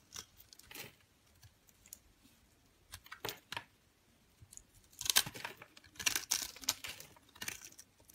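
A metal utility knife blade scrapes and carves small cubes off a solid yellowish bar of soap, pre-scored into a grid and held in one hand with long pink nails, as crumbs fall onto the table. Quiet, bright, crisp scratches and crunchy cuts come in short bursts, growing louder and denser in the second half before trailing off.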